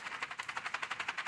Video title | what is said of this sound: Loofa Gourds are ready! - Green house - More baby Sheep | if you shake it you can hear the seeds inside